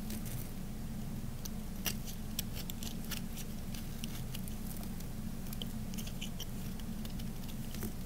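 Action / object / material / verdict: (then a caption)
scrape / bar soap scraped with a small knife / soap / none. A small knife blade scrapes thin curls from the edge of a partly carved, solid cream-white Camay bar of dry soap held in the hand. Soft, dry scraping and crisp little ticks and crackles come at an uneven pace over a steady low hum.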